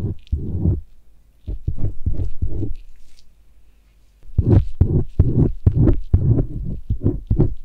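A thin metal blade on a white handle, a cloud knife, scrapes and strokes inside the folds of a life-size white silicone ear on a binaural microphone while one bare hand holds the ear and a gloved hand works the blade. Close, low, muffled scratching strokes thump into the mic in quick irregular bursts, with a quieter pause in the middle before the scraping returns denser.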